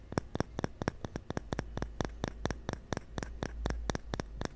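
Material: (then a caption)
Bamboo. A small hollow cylindrical bamboo cup, held in one hand close to an earphone mic, is tapped repeatedly with the fingertips of the other hand. About two dozen quick, dry taps follow one another in a steady, uneven rhythm, each a short, bright click with almost no ring. A low, constant hum sits underneath.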